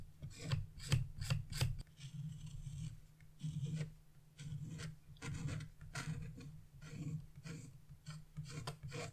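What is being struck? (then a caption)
Wax-coated scratch-art paper. A chisel vigorously scrapes the red fan section of a wax-coated scratch-art page, flaking off crumbs of coating. Quick, sharp rasping strokes come first, then longer, steadier scrapes. Each has a low, grainy body and bright, hissy streaks on top.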